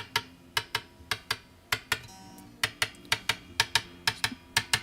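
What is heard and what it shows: The metal frets on the wooden neck of a Chinese-made bass guitar are tapped one after another up the neck, giving 17 short, sharp, bright taps over a faint sustained tonal background. Each tap has the same timbre, allowing for the greater wood mass in the center of the neck. This shows that all the frets are seated properly, a check that can be done by tapping frets with the butt end of an X-Acto knife.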